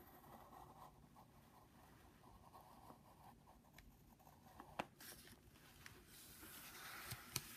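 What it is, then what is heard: Pencil scratching on a padded paper envelope. A wooden pencil tip scratches across a flat brown Jiffy padded paper mailing envelope lying on a wooden desk while drawing, with the other hand holding the envelope flat. Quiet, soft scratchy strokes continue throughout, with a few sharper ticks near the end and a brighter papery hiss in the final seconds.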